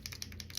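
A new paint marker pen is shaken before its first use, and the free-moving metal mixing ball rattles inside it in five quick, bright clicks. The ball moves freely, as it should.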